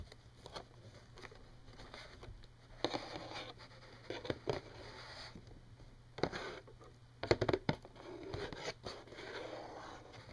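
A hollow, printed cardboard Kleenex tissue box is held up, tapped and scratched with fingernails. Quiet, dry taps with no ring come in clusters between soft, papery scratching passes, over a faint steady low hum.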